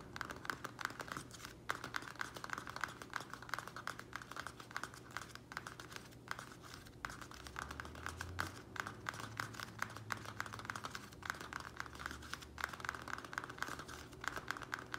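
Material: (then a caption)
Plastic. Fingernails of both hands tap and scratch the sides of a small square black plastic nursery pot filled with soil. Fast, dense, crinkly clicks and scrapes with a bright plastic edge centered around 1.5 kHz run continuously for the whole clip over a faint low hum.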